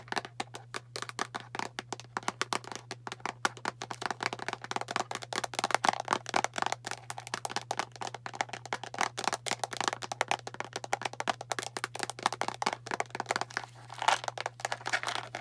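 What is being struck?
Plastic deodorant container.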